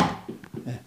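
An improved film-wrapped egg package is dropped, landing with a dull, low thud followed by a few softer knocks as it settles. None of the eggs break, because they cannot move inside the package.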